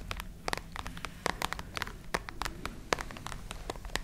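Long nails scratch a small, hollow, dark grey hard-shell case with a textured woven fabric covering. The result is a quick run of about twenty short, crisp scratches and taps. Each one is bright and dry and dies away almost instantly, over a soft rustling bed and a low hum.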